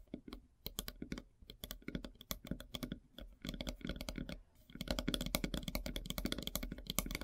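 Long silver nails tap fast on a large, solid, flat slice of light-colored wood with a bark edge. The taps are quick, dry clicks with a low woody body and almost no ring, sparse at first, then a brief pause before a denser, steadier flurry.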